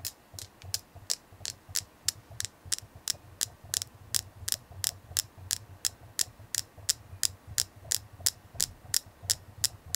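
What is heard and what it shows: A selenite crystal is tapped steadily, about 30 sharp, bright clicks over ten seconds at a slightly uneven pace of nearly three per second. Each tap is very short with no ringing, over a faint low hum.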